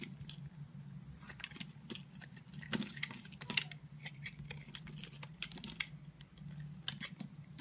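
A solid blue Palmolive soap bar held in the palm is carved and scraped with a red-handled utility knife blade, sending flakes falling. Quiet, crisp scraping and clicking cuts come in quick, uneven bursts, bright and short, over a steady low hum.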